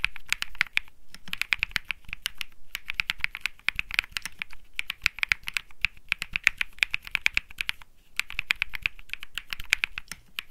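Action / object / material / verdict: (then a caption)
tap / mechanical keyboard with plastic keycaps / plastic / none. Fingertips type steadily on a cream Think6.5 mechanical keyboard with plastic keycaps and Bsun Lollipop switches. The result is rapid bursts of short, crisp clacks centered near 2.5 kHz with a high, bright edge. The typing runs in runs separated by brief pauses around 1, 2.7 and 8 seconds.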